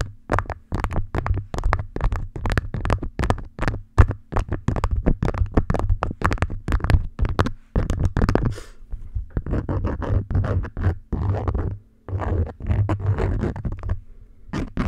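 An orange beeswax-coated cotton food wrap lies over a microphone while long nails scratch and pinch its edges and top. The result is a close, rapid series of crinkly scratches and soft taps, heavy in low rumble with bright edges, broken by a few brief pauses.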